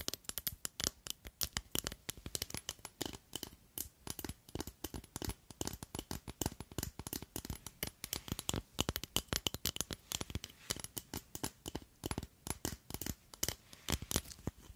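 Long nails rapidly tap and scratch along a long, clear glass tube perfume bottle with a red cap that is partly full. The result is a steady stream of sharp, bright clicks and scrapes with very short decay, set against a quiet background.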